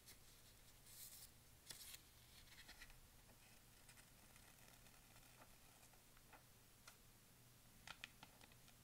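A large folded newsprint store flyer lying on a patterned blanket is flattened and folded by a hand with painted nails, while the other hand brushes and traces along the paper with a small tool. Quiet, bright papery rustles and soft scratchy brushing run over a steady low hum, broken by a few short, crisp crackles of the pages.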